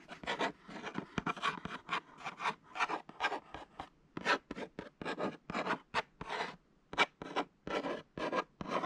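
A hollow, thin kraft paperboard package labelled as reusable food pouches is scratched and rubbed across its printed surface with short fingernails and fingertips. About thirty short, dry, raspy strokes follow one another in a quick, uneven rhythm, each a brief bright scratching burst with almost no low end and no ring after it.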